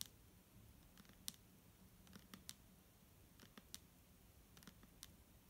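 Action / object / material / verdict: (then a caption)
tap / plastic bottle with liquid / plastic / none. Long nails tap the front label of a clear, hollow plastic micellar water bottle held in the hand and partly full of liquid. Eleven short, bright clicks land at irregular intervals, each dying away almost instantly over a quiet low background.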